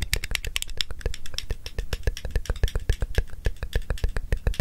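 A small handheld stapler with a blue plastic body and a metal inner mechanism is held in one hand, its jaws opened and pressed close to the microphone. About 35 short, dry clicks and rattles come in a quick, uneven run, with bright snaps over a low thump.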